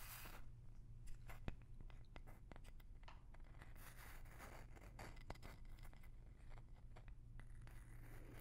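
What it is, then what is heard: Wooden block. A small, light-colored, palm-sized wooden block or box, apparently solid, is held near the microphone while long nails tap and scratch its surface. Quiet, dry clicks and crisp scraping strokes sit over a steady low hum. The taps are short with almost no ring, and a few land louder than the rest.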